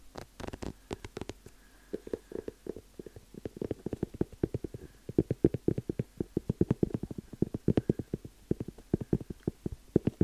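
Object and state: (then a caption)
Leather dress shoe tapped by fingertips. Fingertips tap and scratch the leather upper and sole of a hollow, empty black leather dress shoe held up in one hand. The result is a rapid, uneven stream of short, dull, low taps that die away almost instantly, with faint scratchy texture between them.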